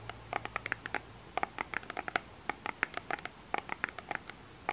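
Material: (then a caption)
Plastic. A small plastic lotion bottle with an orange cap is tapped and scratched with fingernails on its label. Quick, dry clicks and scratches come in uneven bursts, each short and bright with almost no ring, over a quiet background.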